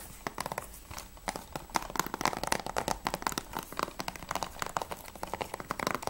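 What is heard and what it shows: Long nails tap quickly on the edge and front cover of a closed, hollow grey plastic PS3 game case for Assassin's Creed II. A rapid, uneven run of short, dry clicks with a hollow plastic knock centered around 900 Hz, each tap dying away almost instantly.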